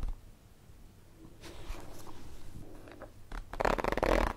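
Long nails tap and scratch the surface of a holographic plastic zippered pencil case with contents inside, held in the hands. Soft, crinkly scratching builds into denser, louder tapping and rustling toward the end.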